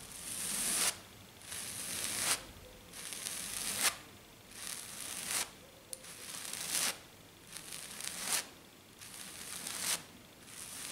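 Both hands with black nails tap and scratch fast and hard across a flat silver glitter-covered sheet. The result is repeated bright, gritty scratching swells, each building in intensity and cutting off abruptly before the next begins.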